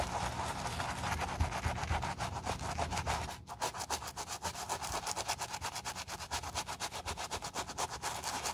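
A wooden bristle brush scrubs a tan suede shoe upper covered in foam, making steady, rhythmic brushing strokes. A dense, bright scratchy hiss carries a low rumble underneath, and after a brief pause near the middle the strokes become quicker and more distinct, roughly four per second.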